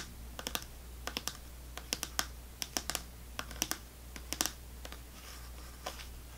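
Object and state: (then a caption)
Plastic fruit cup tapped with fingernails. A small clear plastic snack cup full of orange fruit pieces, held upside down, is tapped on its bottom with long fingernails. About 23 short, bright, dry clicks come in quick irregular bursts, each dying away almost at once over a steady low hum.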